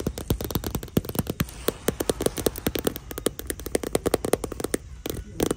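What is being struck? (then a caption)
Patent vinyl handbag. Long nails and fingertips tap and scratch the glossy surface of a small, hollow handbag in shiny marbled patent vinyl hanging on a store rack. A quick series of about forty short, dry clicks sounds over a soft scratching hiss, with the taps giving off a hollow mid-pitched knock that stops instantly without ringing.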